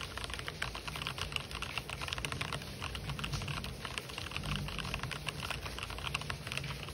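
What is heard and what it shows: Fingertips type fast on an RGB-backlit mechanical keyboard with white and black plastic keycaps. A dense, continuous stream of bright, short clicks runs over a steady low background rumble.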